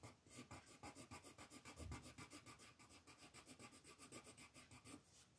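A pink wooden colored pencil rubs and scratches across a flat white paper mandala coloring sheet on a table in steady shading strokes. About 19 quick back-and-forth strokes make a rhythmic, dry rasping scratch with a bright papery hiss and a soft low thud under each pass.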